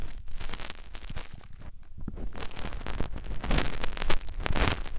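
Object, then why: Silicone ear of a binaural microphone. Fingertips with short nails rub the canal opening of a white soft silicone ear on a white binaural microphone body. The result is a close, dense crackling and scraping rustle, with brief brighter bursts over a steady low rumble.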